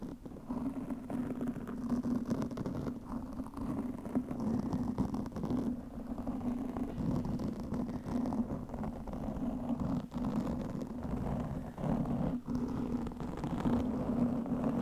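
Long painted fingernails of both hands continuously scratch a soft, porous black foam windscreen on a microphone. The result is a dense, muffled scratching rumble with a steady low hum near 240 Hz, heavy low end and almost nothing bright, holding at an even level throughout.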